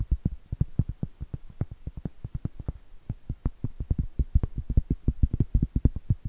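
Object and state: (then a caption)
Cork trivet. Long acrylic nails tap and scratch the face of a round, flat, solid cork trivet held upright. The result is a quick, uneven run of dozens of short, dull, low thuds, each with a faint bright click and almost no ring, and soft scratching between the taps.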